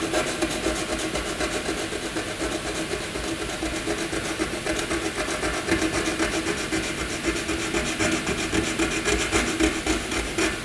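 A black wooden graphite pencil scribbles small zigzag strokes across a flat white sheet of paper, scratching it continuously. The result is a steady, dry scratchy rasp, with quick strokes repeating about four times per second, a bright hissy top and a faint tonal band near 300 Hz, holding an even level throughout.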